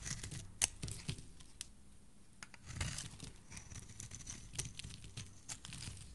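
A solid teal soap bar, held in a hand with dark-painted nails, has its edge scraped with a metal blade into shavings. Quiet, dry scraping and crisp, crackly tearing sounds come in quick irregular bursts, bright on top over a soft low rumble.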